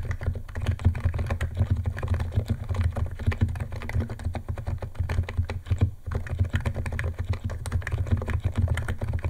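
Fingertips of both hands type fast on a white compact 68-key Niz ATOM 68 keyboard with electro-capacitive switches, white plastic keycaps and a plastic case, resting on a wooden desk. A dense, continuous stream of quick, deep, muted clacks runs throughout, each keystroke short with almost no bright edge, and there is a brief lull near the six-second mark.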